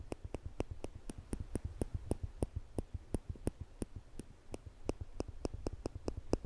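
Small, thin stainless steel tweezers are held in the fingertips just above a microphone without touching it, and their two metal arms are squeezed together so the tips click against each other. A steady series of sharp, dry clicks follows at a fairly even pace, each one very short with almost no ring, over a low background rumble.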